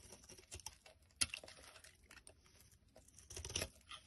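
A black utility blade scrapes and crumbles the surface of a solid, hand-sized lilac Palmolive bar of soap held in the hand. Quiet, bright, crisp scratching and crumbling textures carry through the clip, with one sharp scrape standing out and a denser, louder scraping burst near the end.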